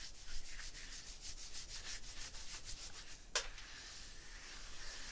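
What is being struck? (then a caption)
Textured stone block wall. An open palm and fingers rub over a rough, textured stone block wall, making a steady, bright scraping rasp in repeated strokes. A single sharp, bright click cuts through near the end before the rubbing continues.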